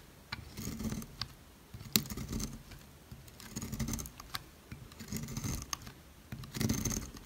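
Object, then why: Bar of soap cut with a blade. A utility knife blade cuts thin slices into the top of a solid yellow oval Dalan soap bar, dry and hard, held in fingers with long red nails, and the slices curl off as shavings. Each stroke gives a soft, crackly scraping burst with a low body and bright, papery edges, broken by sharp, quick clicks.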